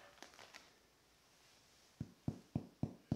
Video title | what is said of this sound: Make a SIMPLE Delicious Sourdough Bread and chill! | hear that hollow sound that means that it is cooked